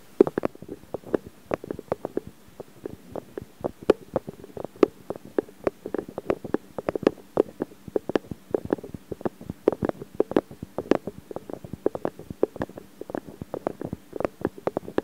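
Fingertips press, rub and scratch on the hollow metal mesh grilles of the X/Y microphone capsules of a Zoom H4n. Dense, crackly scratching is punctuated by dozens of short, dry taps and clicks centred in the low-mids around 400 Hz, with occasional bright snaps. Each sound dies away almost instantly over a quiet background.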